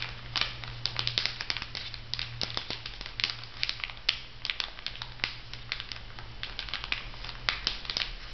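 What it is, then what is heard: Plastic-wrapped sponge pack. Fingernails scratch and rub the plastic film sealing a packet of two foam makeup sponges over a paper card. The result is a steady run of bright, dense crinkles and sharp little ticks over a low, constant hum.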